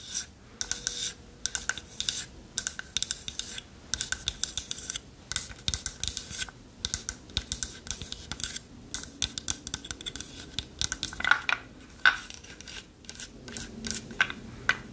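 Long nails tap and scratch the sides of a small, closed, hollow rectangular box of dark wood held upright. The result is a rapid, irregular stream of crisp, bright clicks and raspy scratches that die away almost instantly, with little low end and a faint hollow resonance behind them.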